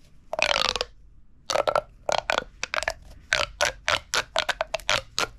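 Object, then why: Corrugated plastic pop tube. A hollow red corrugated plastic pop tube toy is held upright and compressed and stretched by hand, making its ribs pop and crackle. A long, bright crackling stretch is followed by a pause, then a run of quick, sharp pops with a tinny, high-pitched ring and almost no low end.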